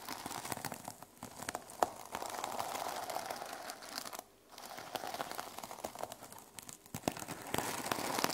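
Long nails scratch and tap the teal plastic sequins covering a small notebook resting on a wooden table. The result is a dense, crinkly rustle of sequins clicking and scraping, with sharp taps and bright high crackle. A brief quiet gap falls near the midpoint before the scratching resumes.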